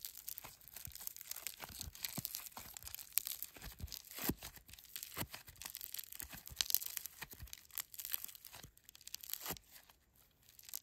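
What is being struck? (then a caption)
Foam slime with polystyrene beads. A handful of silver-grey foam slime filled with polystyrene beads is pulled and stretched into strands, then squished and kneaded between fingertips and thumbs. It makes a dense, quiet, crunchy crackling with many short, bright pops and a brief tearing texture throughout.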